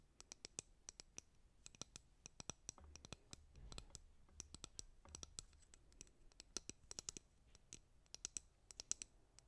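Fingernails tap the back of a white plastic hairbrush and scratch across its bristles, producing a quick run of sharp, bright clicks with almost no ring. Soft scratchy rustling and a faint low rumble sit underneath the tapping.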